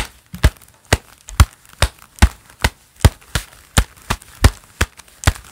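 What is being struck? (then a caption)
Gloved hands, leather gloves. Hands in a pair of black leather gloves clap together and rub, giving sharp, dry slaps with a crinkly leather rustle between them. The claps come at a loose, uneven pace of a little over one per second, each with a low thump and a bright snap that dies away almost at once.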